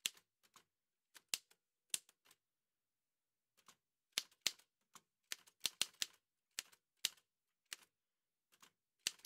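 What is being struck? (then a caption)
Metal manual typewriter. Fingertips in white satin gloves type steadily on the keys of an old dark-grey metal Remington manual typewriter with a hollow body and paper loaded. Crisp, bright clacks come in irregular bursts with short pauses between them. Each tap dies away almost instantly and has almost no low end.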